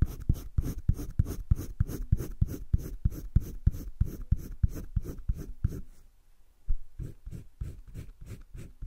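A green colored pencil is rubbed across thick cream drawing paper in a spiral sketchbook with steady shading strokes, giving a rapid, fairly even run of low, scratchy rasps. The strokes break off briefly around the six-second mark, then resume more softly.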